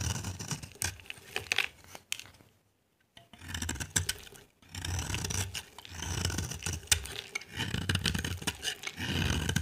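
A solid pale-yellow bar of dry soap, held in the hand, is scraped with a utility knife blade into dry shavings. Repeated crunchy, scratchy strokes combine a low, rough rumble with bright, crackling detail, broken by a near-silent pause around the third second and a brief gap just before the fifth.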